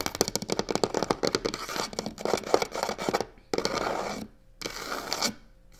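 Long nails tap and scratch the side edge of a hollow box covered in black crocodile-texture faux leather. A quick, crisp run of taps and short scratches comes first, followed by two longer, steady scraping strokes across the textured surface.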